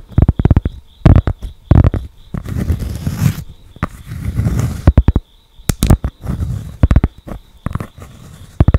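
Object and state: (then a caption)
Cork board. A thick, flat cork board held close to the microphone is tapped and scratched with long acrylic nails, including along its edge. Quick, dull, low taps come in clusters, broken by longer soft scratching and rubbing passages. The sound is muffled and thuddy, with very little brightness and almost no ring after each tap.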